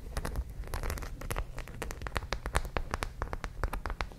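Long nails scratch across the rows of studs on a white studded zippered fabric pouch. It makes a quick, uneven series of sharp, bright clicks and ticks over a steady low rumble. Each tick dies away almost at once.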